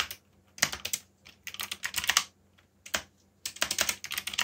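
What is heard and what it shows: Fingertips type rapidly on a backlit mechanical keyboard with black plastic keycaps. The result is bursts of bright, crisp plastic clacks, separated by short pauses. Each keystroke dies away almost instantly, with very little low end.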